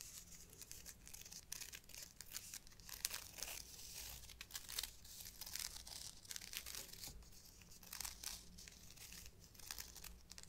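Long black nails scratch and tap along a thin brown faux leather shoulder strap of a bag, held bent between both hands. The result is a quiet, dense run of bright, dry scratching and crinkly crackles, dotted with short, sharp taps that stop at once, over a faint low hum.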